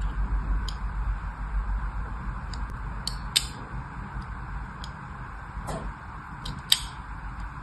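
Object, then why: Bar of soap scraped with a thin metal blade. A thin metal blade scratches and scores fine lines across the surface of a small, solid pink and white striped bar of soap held in one hand. Faint, crisp, bright scratching clicks come at scattered moments, two sharper than the rest, over a steady low background hum.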